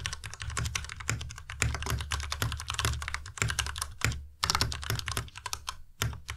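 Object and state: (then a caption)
Plastic mechanical keyboard. Fast two-handed fingertip typing on a white plastic Ducky Miya Pro tenkeyless mechanical keyboard with RGB backlight. A rapid, dense stream of clacky keystrokes carries a low, hollow thock and bright, sharp clicks on top. Each key sound dies away almost at once, with a brief lull just past the four-second mark before the typing resumes.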